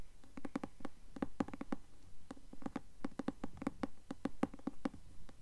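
Long nails tap and scratch the cloth cover of a closed, solid, medium-sized blue cloth-covered hardcover book held upright. A quick, irregular run of soft, dull, dry taps with a low hollow body stops almost instantly, with faint scratching between them.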